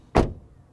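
A door of a 2023 Toyota Corolla Cross Hybrid AWD is shut from outside, giving a single low thud centered in the low-mid range. The sound stops quickly with almost no ring.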